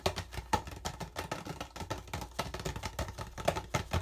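An empty clear PET plastic water bottle with a yellow cap is turned in both hands while fingertips tap and scratch along its thin, hollow body. Rapid, irregular clicks and crinkly scrapes overlap densely, with a hollow plastic tone and bright, crisp edges over a faint low rumble.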